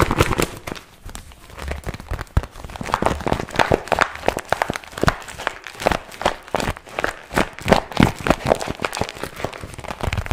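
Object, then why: Small patent vinyl zip pouch. A small glossy pink patent vinyl zip pouch, held in both hands, is scratched and crinkled by fingertips. The result is a dense, continuous run of sharp crackles and dry scratching clicks that rise and fall in loudness throughout.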